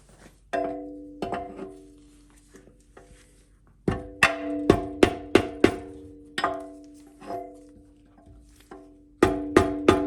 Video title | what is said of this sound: Ford C6 Rebuild, Part 2: Final Assembly | once you hear that solid thud, you know it's more or less all the way seated